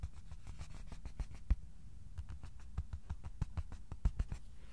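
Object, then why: Flat cardboard sheet. Slow fingertip tapping on top of a flat white cardboard sheet held level. The taps are soft, dull and low, each dying away almost instantly, with a few louder taps standing out from an even, quiet patter.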